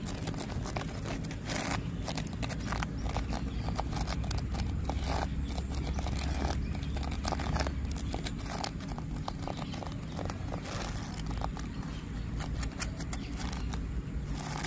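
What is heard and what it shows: Fingernails scratch rough bark on a solid tree trunk, making a continuous, dense rasping of quick scrapes and faint clicks. The sound is quiet and steady throughout, with a strong low rumble underneath.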